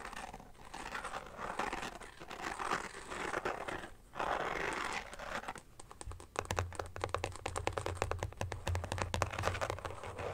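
A carbon fiber pattern phone case is held and then laid on a blanket while fingertips and nails scratch and tap its back quickly. Soft crinkly scratching and rubbing give way after about six seconds to a fast run of dense, sharp taps over a low hum.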